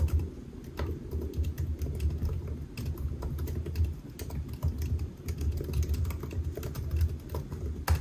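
Fingertips of both hands type on the black plastic keys of a solid silver aluminium laptop resting on a white desk. A steady, dense stream of soft, muffled low taps and clicks runs throughout, with occasional sharper keystrokes standing out and each tap dying away almost instantly.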